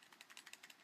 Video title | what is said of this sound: Quick Airsoft Reviews - Walther CP99 Compact | that's the slide actually moving like it's not moving back and forward it's actually moving like this side to side